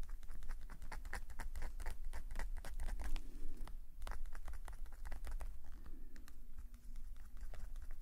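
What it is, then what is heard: Pen nib scratching on a paper page. A metal calligraphy nib pen, held in a fingerless-gloved hand, scratches ink lines across a page of an open black-paper sketchbook lying flat on a woven table mat. Quick, dry scratches and light taps come in a steady, uneven patter over a low background rumble.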